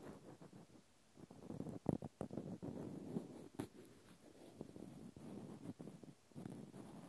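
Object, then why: Natural cork stopper scratched with a cotton swab. A small, solid, speckled natural cork stopper is held in the hand while a cotton swab scratches along its side. Soft, dry, low scratching rustles in short strokes, with brief pauses and a few sharper scrapes standing out.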